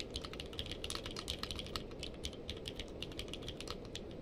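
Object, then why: Mechanical keyboard with plastic keycaps. Two-handed fingertip typing on a purple-case mechanical keyboard with plastic keycaps gives a fast, steady stream of short, crisp clicks with bright high-end ticks. The clicks sit over a constant low rumbling background.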